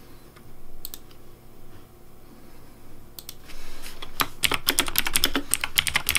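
Fingertips type on a pink Razer DeathAdder V3 Pink plastic mechanical keyboard with hollow plastic keycaps. A few scattered bright clicks give way after about four seconds to a quick, uneven run of sharp, hollow clacks over a low background hum.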